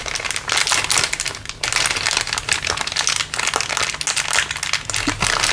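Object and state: Crinkled plastic bag.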